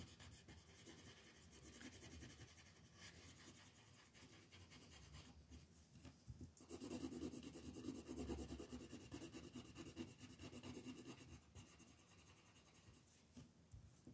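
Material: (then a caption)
Paper. A pink colored pencil with an eraser end is rubbed back and forth over a flat paper mandala coloring sheet lying on a table, shading it in. The clip is a soft, continuous scratchy rasp of lead on paper, with rhythmic strokes that grow louder and denser midway before easing off.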